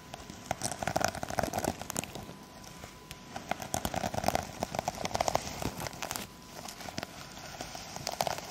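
Long acrylic nails on both hands scratch and tap across the plastic sequins of a sequin-covered fabric pouch held close up. The result is a dense run of dry crinkling clicks and scratchy rustles with a bright edge and a mid-range tone near 700 Hz. The bursts come in uneven clusters with short, quieter gaps between them.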